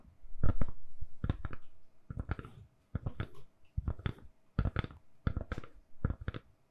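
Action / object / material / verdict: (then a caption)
tap / silicone-covered phone case / silicone / none. A lilac silicone-covered case on a hand-sized, solid phone is tapped and scratched with long nails. Bursts of quick, soft, dull taps mixed with scratchy rubs come in short clusters separated by brief silences. The sounds are low and muffled, and each dies away almost at once.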